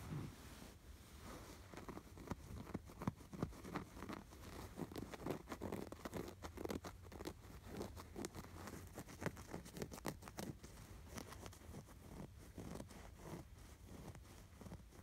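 Fingertips and nails scratch the red fabric appliqué sweater and its stitching on a soft, stuffed cream canvas throw pillow with grey fuzzy cuffs. The result is a quiet, steady run of short, dry scratching and rustling strokes with a soft, muffled low end and little brightness.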